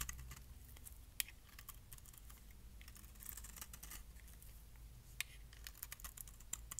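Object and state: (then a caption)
Dry bar soap being shaved. A metal blade shaves curls and flakes off the edge of a solid, palm-sized orange bar of dry soap held in the hand. Quiet, crisp scraping and bright crackling ticks come in rapid bursts, with a few sharper snaps standing out. A steady low hum runs underneath.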